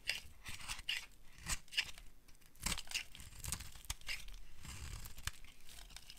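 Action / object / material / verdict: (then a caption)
scrape / bar of soap / soap / none. A solid rectangular bar of dry beige soap, held in the hand, is carved and scraped with a metal blade, and thin curls fall away. Many dry, crisp scraping and crunching strokes come through in bursts with bright, papery detail. Each stroke sounds tearing and crinkly against a low, soft background.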